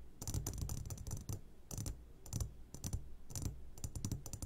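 Fingertips tap rapidly on the sides of an upside-down clear glass jar full of hard candies. The taps come in quick clusters of crisp, bright clicks over a soft, low thump, and each one dies away almost at once.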